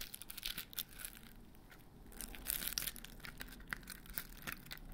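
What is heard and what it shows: A large white glitter-coated foam Christmas bauble with grey stars hangs by its string from one hand while the other hand's fingertips and nails scratch and tap its rough coated surface. The result is a soft, dry, crinkly scratching with a bright hiss, broken by quick, sharp taps that die away at once.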